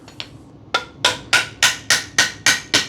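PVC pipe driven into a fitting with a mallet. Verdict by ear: Seated.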